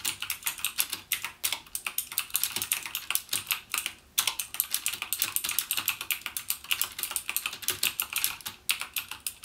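Fingertips type continuously on a backlit plastic mechanical keyboard with plastic keycaps and Cherry MX Blue switches. The result is a rapid stream of bright, crisp clicks with almost no low end and very short decay, broken only by a brief pause around the four-second mark.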